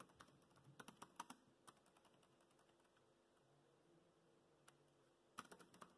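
Fingertips type on the black plastic chiclet keys of a dark grey laptop keyboard. Quiet, sharp clicks come in a burst over the first two seconds, then pause, with one isolated tap and a short final cluster near the end.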